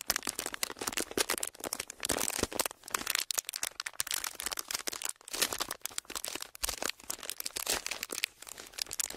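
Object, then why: Thin plastic sheet. A thin clear plastic sheet is twisted and pressed between the hands while fingertips crinkle and rub it. The result is dense, bright crackling and crinkling with many sharp clicks, nearly continuous with brief pauses and almost no low end.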